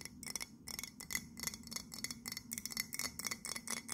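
Long nails tap quickly on the side of an empty white printed ceramic mug held in both hands, making sixteen bright, clicky taps with a high, glassy ring that dies away almost at once.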